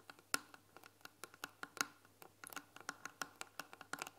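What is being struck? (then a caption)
Painted wooden tea box. Long nails tap and scratch on the front panel of a white painted wooden tea box that has a glass lid and tea packets inside. The result is a quiet, irregular run of short, dry, bright clicks and brief scratches with almost no ring and no low end.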